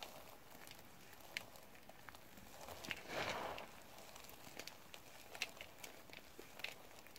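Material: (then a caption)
Soap. Blue nitrile-gloved hands scoop, squeeze and crush handfuls of small, crumbly multicolored soap scraps (yellow, green, white and pink) piled in a yellow plastic bowl. Quiet, dry crackling and rustling is scattered with sharp, bright clicks, and a louder, denser crunch swells for about half a second near the middle before settling back to soft crinkling.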